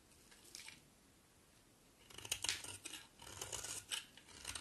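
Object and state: Bar of soap being shaved.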